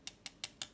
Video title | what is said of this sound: Saviland | that's a bit of clicky sound